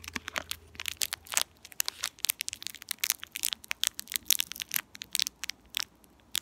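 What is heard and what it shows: A small, empty, purple shiny metallized plastic candy wrapper is twisted and crinkled between the fingertips of both hands with long painted nails. It makes a steady run of sharp, bright crackles and crinkling snaps with almost no low end, each one dying away instantly.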